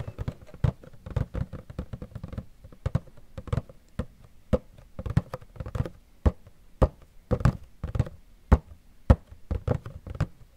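Fingernails tap and knock on a Funko Pop box made of cardboard with a clear plastic window and the figure inside. The result is an irregular run of short, dull, low knocks and clicks, some in quick clusters, each dying away almost instantly, with a faint bright tick on the sharper taps.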